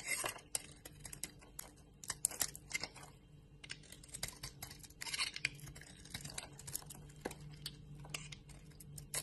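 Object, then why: Bar of soap cut with a blade. A utility knife blade scrapes and cuts a solid bar of soap with a yellow coating and white core, held in a hand with long nails, breaking it into brittle chips. It sounds like quiet, crisp, bright scratching and crackling in quick, dry bursts that stop instantly, over a faint low hum.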